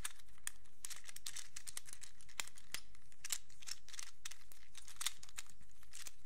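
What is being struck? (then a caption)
Hollow plastic fidget cube. A small, hand-sized black plastic fidget infinity cube made of hinged hollow blocks is held in both hands and flipped and folded with the fingertips, so the blocks click against each other. The result is a quiet, continuous stream of rapid, bright, crisp plastic clicks and rustles, with a few slightly sharper clicks standing out.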